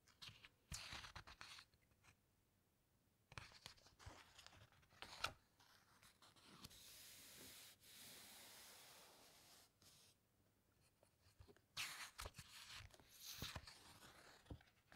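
Flat hands and fingertips press and rub across the glossy pages of a large hardcover shipwreck book lying open on a table, with occasional page turns. Bright, papery rustles and crisp crinkling bursts alternate with a long, smooth swishing rub and quiet pauses in between.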